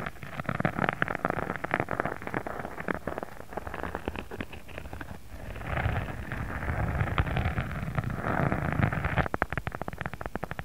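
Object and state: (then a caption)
Textured faux leather sheet. Fingertips of both hands scratch and tap a thin, pink, embossed faux leather sheet lying flat. The result is a dense, steady stream of dry crackling scratches and quick soft taps over a low, rumbling body, with the texture growing fuller partway through.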